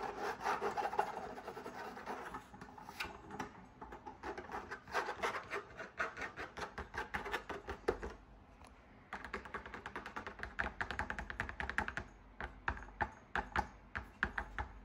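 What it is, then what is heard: Fabric drum lamp shade, scratched and tapped. Fingertips and nails quickly scratch and tap the outside of a large, hollow, cylindrical fabric drum lamp shade on a lit floor lamp. The result is a dense stream of dry rubbing scrapes and soft, short taps with a muffled papery body. The activity briefly quiets around the middle of the clip before resuming just as fast.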